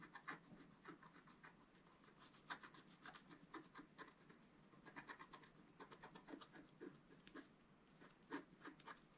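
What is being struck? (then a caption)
Wax-coated scratch-art paper sheet scratched with a wooden stylus. A wooden stylus scratches and rubs across a flat wax-coated scratch-art paper sheet near the figure's head. Quiet, dry scraping strokes come in a rapid, irregular series of short bursts with a gritty, bright texture. There is little low end and almost no ring after each stroke.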